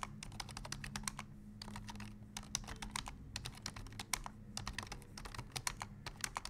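Fingertips of both hands type rapidly on the keys of a black plastic full-size computer keyboard. It makes a quick, uneven run of dry, bright clicks and taps that stop instantly, over a faint steady low hum.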